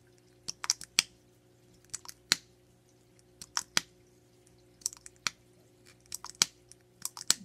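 Long nails tap rapidly on the top and sides of a small black rectangular hard plastic makeup case held in both hands. The taps make sharp, bright, typing-like clicks in quick irregular bursts over a faint steady low hum.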